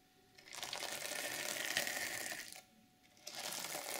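Long nails scratch downward across a flat reversible sequin fabric journal cover, flipping the sequins. The result is a bright, dense, rattling scratch in two bursts: a long stroke from about half a second to two and a half seconds, a short pause, then another stroke that runs to the end.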